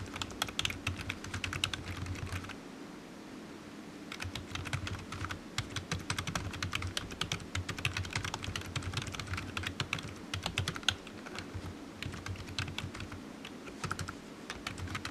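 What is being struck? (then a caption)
Plastic computer keyboard. Fingertips of one hand tap the keys of a solid black low-profile plastic computer keyboard resting on a desk mat while typing. Quick, bright, dry clicks come in rapid bursts, with a short pause around the third second, over a faint steady low hum. Each tap dies away almost instantly.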